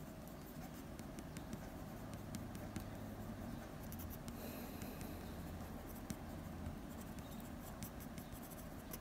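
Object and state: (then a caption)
Pencil strokes on drawing paper. A blue mechanical pencil tip scratches short strokes on a sheet of drawing paper around a drawn nose. Quiet, dry scratching with brief bright ticks sits over a steady low hum.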